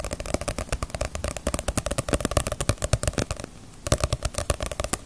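Long nails tap and scratch rapidly on the glossy paper front cover of a small, solid Naruto paperback manga volume. The dry, clicky taps have a thudding low body and die away almost instantly, with a brief quieter scratching pause about three and a half seconds in before the tapping resumes.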